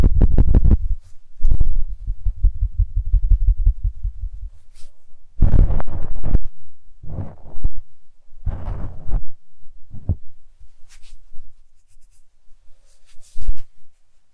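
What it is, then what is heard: Knit acrylic beanie. A single bright green knit acrylic beanie, soft and hollow, is held in both hands and scrunched, rubbed and stretched with the fingers close to the microphone. Heavy, muffled low thumps and rumbling rustles come in uneven bursts, with a few faint bright fabric hisses between quieter pauses.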